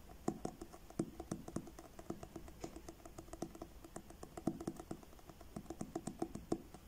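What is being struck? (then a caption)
Paperback book with card cover. Fingertips quickly tap the front cover of a paperback book with a blue card cover held upright. The result is a steady run of soft, dull, papery taps with little ring, each one short and muffled, mostly in the low and middle range at a quiet level.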